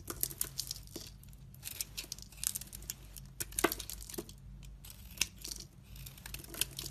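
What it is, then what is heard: Soap bar being shaved. A utility knife blade scrapes shavings off the top of a solid soap bar with red painted edges and a translucent shaved face, held in a long-nailed hand. Dry, crackling scrapes and crisp crumbling bursts come in an irregular rhythm, bright and sharp, over a faint low hum.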